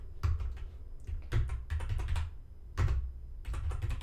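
A black plastic computer keyboard on a desk is typed on with the fingertips of both hands. Quick bursts of clicky key taps come in uneven clusters, each with a dull, low thump from the desk beneath and a short, dry decay.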